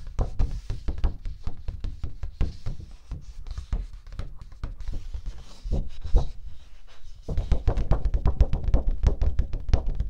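A thin, flat teal cardstock sheet held in front of the microphone is knocked and tapped with long nails and fingertips. The result is a fast, steady run of dull, low thumps with almost no ring, with a brief quieter patch in the middle before the tapping picks up louder and denser in the last few seconds.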